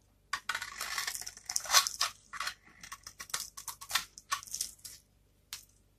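A small knife blade scrapes and cuts into a rectangular bar of dry, varnished soap held in one hand, the bar having a pink glitter layer and blue-and-white stripes. The result is a run of dry, bright, crunchy scraping bursts with short pauses between them. The soap crumbles into flakes that fall onto a wood-pattern backdrop.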